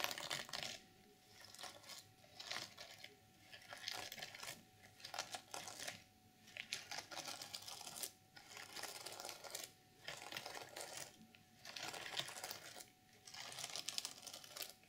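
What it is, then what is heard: Sequin fabric journal cover. Fingers and long nails scratch and flip the sequins on a flat, reversible sequin fabric journal cover. Bright, crisp rustling and clicking comes in short bursts separated by brief quiet gaps, with almost no low end.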